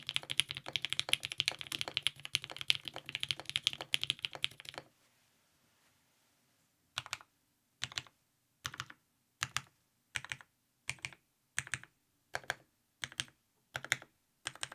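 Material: ABS plastic.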